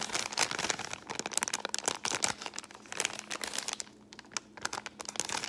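A folded brown kraft paper bag is scratched with long painted nails and crinkled between the fingers. Dense, bright crackles and short, sharp scratching clicks fill the clip with almost no low end. There is a brief quieter gap around the four-second mark before the crinkling picks up again.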